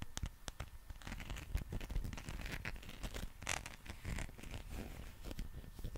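A green, textured, soft rubber dinosaur figure is held in both hands while nails scratch across its ridged back and skin. Quick, dry scratching and crackling strokes overlap continuously over a low, muffled handling rumble, with brief brighter flicks of rubbery friction.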